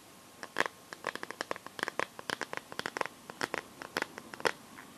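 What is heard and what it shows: Long nails scratch and tap across the back and rim of a smartphone in a clear pink plastic liquid-glitter case. The result is a quick series of many short, dry, bright clicks and scrapes with almost no ring and little low end.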